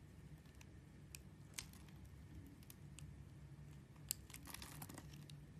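A metal blade carves a purple translucent glycerin bar soap held in fingers with dark nails, slicing small cubes from its scored surface. Quiet, crisp high-pitched clicks and brief crunchy scrapes sound as the pieces cut free, over a steady low background hum.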